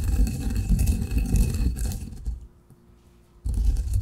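A granite pestle grinds fine coffee grounds in a granite mortar, making a low, gritty rumbling scrape. The grinding runs steadily for about two seconds, fades into a near-silent pause, then resumes abruptly and loudly near the end.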